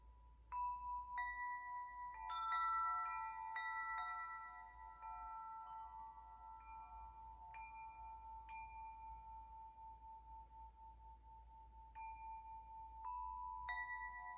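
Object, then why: Hollow metal tube wind chime. A hollow metal tube wind chime dangles by its string from a raised hand and swings, so its tubes strike and ring out in clear, overlapping tones around 1 to 2 kHz. The strikes come at irregular intervals, and each bright note sustains for about two seconds before fading. A faint low rumble sits underneath throughout.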